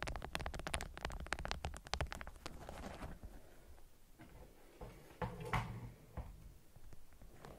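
Long nails tap quickly and then scratch across a stiff, beeswax-coated cotton wrap folded into a candy shape around a small object. A dense run of dry, muffled taps fills the first few seconds, then gives way to softer scratching and crinkling, with a couple of louder crinkly rubs near the end and no ring after each touch.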